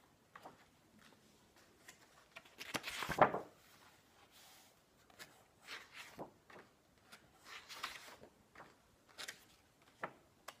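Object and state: Turning paper pages of a large book.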